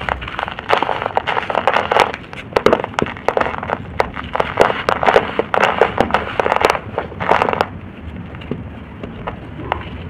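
Bare fingertips squeeze and crush fist-sized, cup-shaped lumps of dry red-brown soil, solid yet crumbly, with dust falling onto a soil pile. Dense crackling crunches and sharp bright snaps fill the first seven or so seconds, then settle into a quieter, gritty crumbling hiss.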